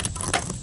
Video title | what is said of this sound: Inside a failed ATV Starting Solenoid, why did it stop working?, | when this plunger goes down and you can hear how crispy it is so it obviously died of getting rusty inside